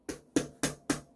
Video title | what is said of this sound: 자전거 휠의 종류와 기능 | 카본 휠은 이런 소리가 납니다